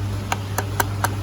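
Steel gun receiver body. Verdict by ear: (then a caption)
Real. Five sharp knocks on the steel receiver body of an Arcturus AK-12 airsoft gun, each a short bright tap that dies away almost instantly over a steady low hum. The knocks sound like real steel, not plastic or fake metal.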